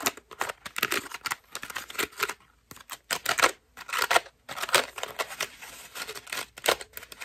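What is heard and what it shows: A white foam bath loofah is squeezed and scratched with long nails, held close to the mic. Dense, dry crackling and scratchy rustles come in quick bursts with short pauses. The sound is bright, with almost no low end.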